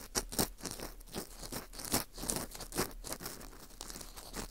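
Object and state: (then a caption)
Dried wheat gluten ring (fu) scraped. An orange plastic earpick scrapes inside the hole of a porous dried wheat gluten ring (fu) held in gloved hands. Dry, bright scratching and crunching come in quick, uneven bursts over about four and a half seconds.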